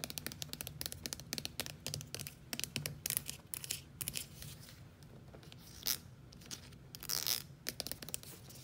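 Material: Plastic.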